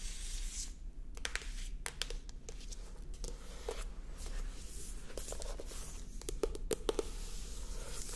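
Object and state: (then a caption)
Paperback book cover. Long acrylic nails tap and scratch on the matte card cover of a held-up paperback book, Señor Gonzalez. Quiet, sharp clicking taps mix with dry, papery scratching strokes over a steady low background hum.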